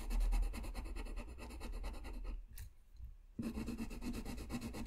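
A blue colored pencil scratches and rubs across a flat white paper sheet while coloring, making a dense, steady rasping texture with rapid repeated strokes. The scratching drops to a near pause with a brief faint tick around the middle, then resumes at full strength.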